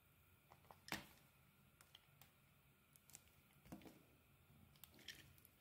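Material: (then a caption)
Soap. A utility knife carves and scrapes facets into a solid white bar of soap with a yellow-green coating, held in the palm. Quiet, crisp cutting clicks and soft, bright scrapes occur in a scattered series, with one sharper snap near the start, over a low, faint background hiss.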